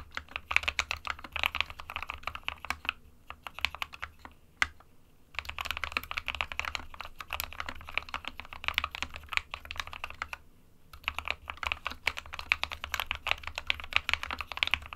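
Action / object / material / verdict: tap / plastic mechanical keyboard / plastic / none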